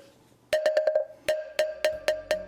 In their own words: 살구나무 목탁이 더 맑은 소리가 난다